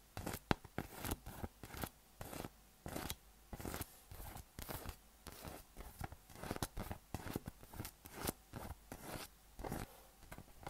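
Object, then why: Inflated PVC massage ball with nubs. A yellow, hollow, inflated PVC spiky massage ball with nubs is held in one hand and tapped and scratched with the fingertips and nails. The result is a quick, uneven run of short, dry clicking and scratchy bursts with a soft hollow thump underneath, each dying away almost instantly, with faint hiss between them.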